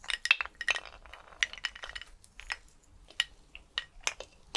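Skeleton bones clink against each other in an irregular series of short, bright clicks and chinks that die away almost instantly, with quieter rattling between the louder taps.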